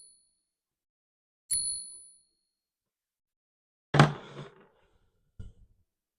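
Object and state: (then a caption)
Genuine silver dollar coin, rings true. A 1921-D Morgan silver dollar, bought for $28, is struck with a nail as a ping test because the usual ping tester is locked in the safe. Three separate taps are heard. The first, near 1.5 s, leaves a bright, clear ringing tone. It is followed by a louder, noisier strike and a short faint tap, and the ring shows the coin is silver.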